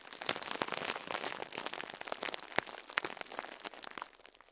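Fingertips squeeze and crumple a soft foam sponge wrapped in clear plastic, crinkling the wrap. A dense run of bright, dry crackles and sharp snapping pops is heard, with almost no low end. The crinkling grows quieter toward the end.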